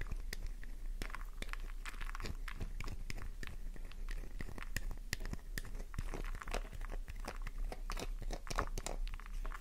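A solid pink flower-shaped soap bar, held in the palm, is scratched with long nails, producing a rapid, continuous stream of crisp, crunchy scratches and clicks as crumbly shavings come off. The scratches are close and dry with almost no ring, over a steady low hum.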